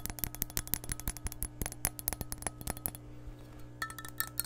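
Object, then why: Empty glass measuring cup. Long nails tap and scratch the base and side of an empty, hollow clear glass measuring cup. Quick bright clinks with very short ring fill the first three seconds over a steady low hum. After a brief quieter stretch of soft scratching, the tapping resumes.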